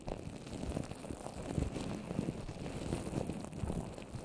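Both hands with long orange nails tap across the top and sides of a microphone coated in wet white papier-mâché paper over plastic wrap, formed into a rounded dome. The taps come as a steady stream of soft, muffled, low thuds with little brightness, each dying away almost at once.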